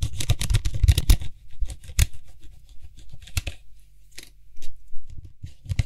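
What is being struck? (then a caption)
Hollow plastic cap on a metal spray can. Fingertips and nails rapidly tap and scratch the white hollow plastic cap of a Lysol disinfectant spray can with a metal body, while the cap is also twisted in the hand. A dense burst of quick, dull tapping and bright scratchy rasps opens the clip, then thins into sparser, short clicks and scrapes, with each tap dying away almost at once.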